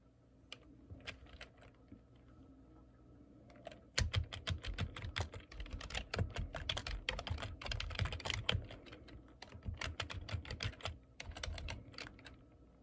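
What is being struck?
Plastic computer keyboard.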